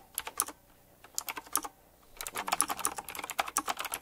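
Fingertips type quickly on a full-size typewriter-style mechanical keyboard with round black plastic keycaps, chrome-look rims and a metallic frame. Short, sharp, bright clicks come in scattered bursts, with a brief pause before a faster, denser run of keystrokes.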